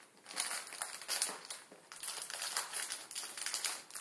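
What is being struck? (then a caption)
Plastic film packet with a dry noodle block. A full plastic instant ramen packet with its dry noodle block inside, resting on a table, is pressed and crushed under the fingertips of both hands. Dense, bright crinkling and crackling of the plastic film rises and falls in overlapping bursts, with almost no low end and a brief quieter dip near the middle.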